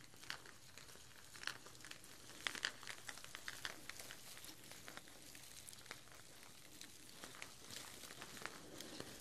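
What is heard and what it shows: Two strands of glossy artificial plastic chili peppers on twine are held up by the top and shaken, so the peppers rustle and knock together. The result is a quiet, dense run of bright, crinkly clicks and taps with a few sharper knocks, each dying away almost instantly.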